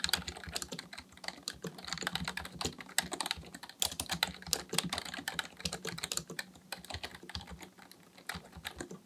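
Both hands type steadily with their fingertips on the plastic keys of a black plastic full-size keyboard resting on a desk. The result is a rapid, uneven stream of bright, crisp clicks and clacks with very short decay, over a faint steady low hum.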